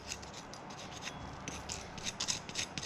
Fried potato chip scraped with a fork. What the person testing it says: you can just hear how crispy these are